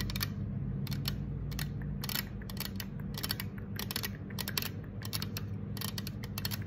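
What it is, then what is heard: Aluminum soda can. Long acrylic nails tap and scratch the side of a green 355 mL aluminum soda can that stands upright, hollow, on a marble table. The result is a quick series of bright, clicky taps with short scraping strokes, each dying away almost at once, over a steady low hum.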